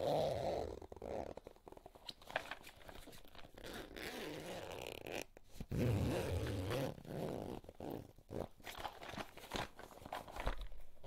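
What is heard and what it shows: Fingers pull the zipper of a small pink floral coated-fabric cosmetic pouch open and closed. It makes a run of short, uneven zipper rasps with some soft crinkling over a low, muffled body. The sound is quiet and close throughout.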